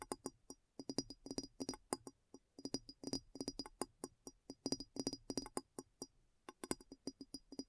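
Long nails tap quickly over the base and sides of a clear, hollow glass bowl placed upside down, making a rapid, irregular run of about 39 sharp clicks. Each tap is short and dry, with a hollow tone around 340 Hz and a faint high glassy ring that dies away almost instantly.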